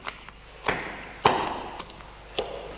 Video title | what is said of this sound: PANES, BOLLOS y DULCES amasados como antiguamente: A MANO Y SIN MÁQUINAS. Recetas con tradición | C'est un peu coincé, c'est encore un peu serré, il faut que ça sonne plus.